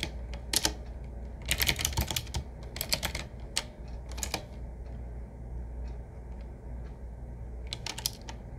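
Both hands type with their fingertips on a 7Keys retro typewriter-style mechanical keyboard: medium size, hollow case, wood-finish frame, and round black keycaps set in metal rings. Crisp, bright clacks come in quick clusters of keystrokes with short pauses between them. A steady low hum runs underneath throughout.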